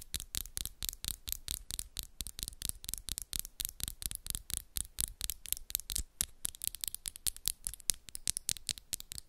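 Long pink and black acrylic nails, small and solid, on both hands interlock, tapping and scratching against each other in a fast, steady run of around 48 sharp, bright clicks over about nine seconds. Each tap is crisp and high-pitched and dies away almost instantly, with a faint low thump underneath and soft scratchy texture between the hits.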